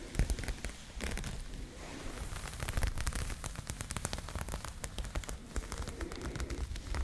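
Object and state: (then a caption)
Crochet yarn bag. Long nails scratch the knit texture of an empty, soft pink crocheted yarn bag, making a dense run of quick, dry crackling scrapes. The sound is mostly low and muffled, with short, bright clicks from the nails catching on the yarn.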